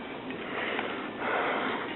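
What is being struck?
Nothing is struck.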